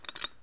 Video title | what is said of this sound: Quick Tips For New Years(kinda quick lol) Part 1 JamesClass | you touch it it sounds like metal